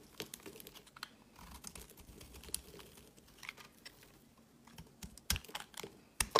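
A knife blade carves chunks off a solid white soap bar held in the hand. The result is a quiet run of crisp, dry scraping and cutting sounds with short crunchy bursts. Two sharper, louder cuts stand out near the end.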